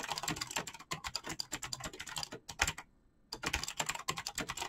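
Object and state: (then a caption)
Mechanical keyboard with PBT plastic keycaps. Fingertips type fast on a black mechanical keyboard with clicky switches and PBT plastic keycaps. A dense run of sharp, bright clicks and clacks breaks off in a brief pause near the three-second mark, then resumes at the same rapid pace.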